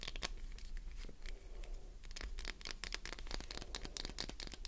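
Long nails rapidly tap and scratch the top, edges and sides of a solid, translucent green glycerin soap bar held in the hand. The result is a quick run of crisp, bright clicks and dry scraping strokes that die away almost instantly, over a steady low hum.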